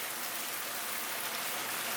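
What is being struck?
Nothing is struck.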